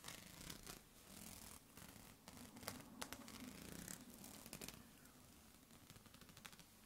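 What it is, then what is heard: Plastic clothes hanger. A light lilac plastic clothes hanger with thin, hollow-looking ridged rods is held in both hands while fingertips and nails scratch and tap along its bars. The result is a steady, irregular stream of dry, crackly scratching with quick bright ticks, and occasional sharper taps stand out over a soft low rumble.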